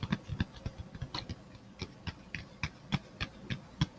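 A hand-sized, flat black plastic phone case with a glitter back is held near the mic and tapped and scratched with fingertips and nails. About 16 short, dry taps come at an uneven pace, each a soft low thump topped with a bright, clicky tick that dies away almost instantly. Faint scratchy rustles fill the gaps between them.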